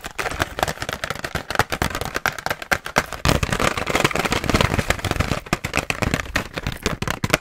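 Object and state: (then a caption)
Plastic blister pack. Long nails rapidly tap and scratch the hollow clear plastic shell of a pink BIC razor blister pack held in hand. The result is a fast, aggressive stream of dry, crackling clicks and scraping rustles with no ring after each tap.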